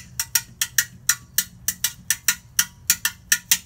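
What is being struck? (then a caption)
Copper watering can. A medium hollow copper watering can with a long spout, held in one hand, is struck 15 times with a pink-tipped stick or mallet. Each hit gives a bright, high metallic clank that dies away quickly. The hits come in an uneven rhythm, often in quick pairs.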